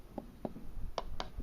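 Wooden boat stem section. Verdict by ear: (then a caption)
Hollow. Five light taps on a section of the wooden stem of a 107-year-old motor yacht give short, dull, hollow knocks centred around 650 Hz that die away almost at once. The hollow sound is confirmed: when the piece was pulled off, it showed gaps where water could get in and stay.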